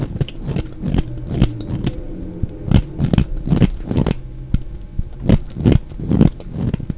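A solid, dry, round orange bar of soap held in the hand is scraped and shaved with a utility knife blade, producing fine shavings. Irregular, closely spaced dull scraping strokes with brief crackly onsets are heard, mostly low in tone with little brightness.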